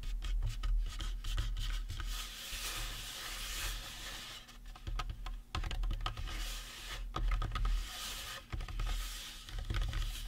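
Fingertips and nails scratch and rub the cranium and face of a life-size painted resin or plastic Halloween prop skull. Dry, raspy scratching comes in dense clusters of quick clicks over a steady low rumble, with brighter bursts where the nails drag.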